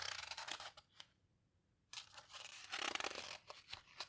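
Long nails and fingertips rub and squeeze the edges of the heavy, coarse pages of a large open paper houseboat photo book, then turn the pages. Bright, dry rustling and scratchy crinkles come in quick bursts, pause in near silence for about a second, then return as a louder, sustained page rustle that tapers into a few softer scrapes.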